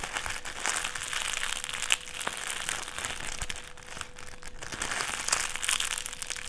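A clear plastic strip is folded smaller and crinkled between the fingers, giving a dense, bright crackling that rises and falls in waves with a few sharper snaps. A faint steady tone hums underneath the whole time.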